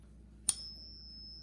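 A counterfeit Morgan silver dollar is pinged once, giving a sharp, very high, thin ring that fades quickly over a low background hum. The ping is judged wrong, marking the coin as fake.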